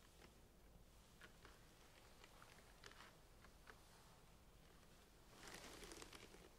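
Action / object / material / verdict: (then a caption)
tap / plastic centrifuge tubes with caps / plastic / none. Long painted nails tap and scratch the blue caps and sides of plastic centrifuge tubes standing in a rack. Quiet, irregular light clicks and ticks sit over a steady low hum. Near the end, a louder, brighter scratching rasp takes over.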